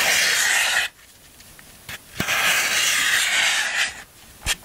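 A black handheld tool is rubbed and scraped across a large solid block of green phenolic floral foam, held in one hand on a black surface, rasping off crumbs. Two long, bright, hissing rasps are heard, separated by quiet gaps with a few short, sharp ticks, and a final crisp click near the end.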